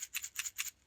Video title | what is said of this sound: Thimble The Christmas Mouse - Day Three | what a cool sound it rattles doesn't it